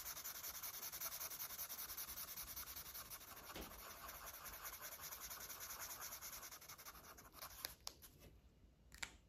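A red felt-tip marker rubs quick short strokes across a thin paper page of an open coloring book, coloring in the stripes on a parrot's tail. The result is a steady, bright, scratchy rubbing that thins out near the end, broken by a few sharp ticks.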